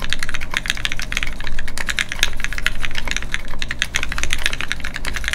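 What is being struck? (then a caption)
Mechanical keyboard with plastic keycaps and metal case. A full-size Keycult No2 mechanical keyboard with Gateron Ink switches, a brass plate and a solid metal case sitting flat on a desk mat is typed on continuously by both hands, fingertips striking its red plastic keycaps. Rapid, uneven keystrokes make short, dry clacks with a bright upper edge. A steady low rumble sits beneath the typing throughout.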